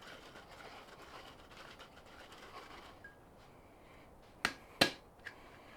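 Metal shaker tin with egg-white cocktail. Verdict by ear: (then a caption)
Emulsified. A sealed metal shaker tin holding an egg-white cocktail is dry-shaken without ice: about three seconds of rapid, bright sloshing and rattling settle into a quieter, muffled hush as the egg white emulsifies and the tin pressurizes. Three sharp clicks and pops follow as the tin is opened, revealing a white, fluffy, bubbly texture that shows the egg white is fully emulsified.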